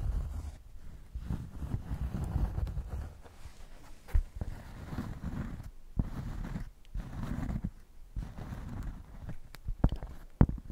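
A thick, solid cork square is held up while long nails scratch across its surface and edges. The result is a series of low, rumbling, bass-heavy scratching bursts separated by short pauses, with a few sharp clicks standing out from the scraping.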